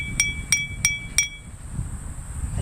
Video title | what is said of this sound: Noting environmental sounds | it's going to give a very harsh metallic sound